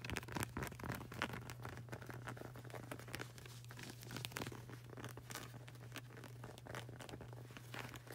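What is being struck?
Rubber flip-flop sole.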